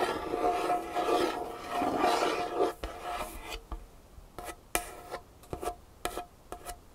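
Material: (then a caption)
Wood. A single long fingernail scratches and rubs along the grain of a large, solid, dark-stained wooden tabletop. For nearly three seconds it makes a steady, bright rasping scratch with a faint ringing tone near 700 Hz, then changes to about seven short, sharp strokes spaced unevenly over quieter moments.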